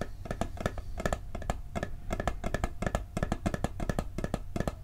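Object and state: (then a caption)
Metal cookie tin tapped on the lid. A round, flat, hollow blue and gold metal cookie tin with a lid is tapped rapidly on the lid with fingertips and nails. The quick, uneven taps give short, hollow, low-pitched knocks with a faint metallic ring that dies away almost at once.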